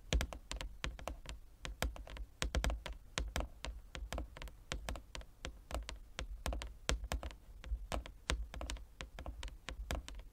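Fingertips and nails of both hands rapidly tap a large, flat, inlaid wooden chess board. Each tap is a short, dry click with a low, hollow thump underneath and a bright edge from the nails. The taps fall in a quick, uneven patter with almost no ring between them.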